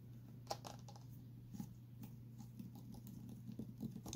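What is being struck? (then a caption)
Clear plastic water bottle with a straw inside. A clear plastic water bottle with a straw inside is tilted and tapped with nails and fingertips. The result is soft, quick clicking taps and light patter with short, dry decay over a steady low hum.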